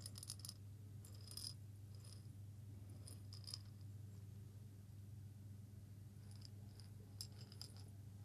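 A small hollow glass jar with a metal lid, partly filled with coffee beans, is held in the fingers and shaken. Short bursts of bright, clicky rattling come and go over a steady low hum, with quiet gaps between the shakes.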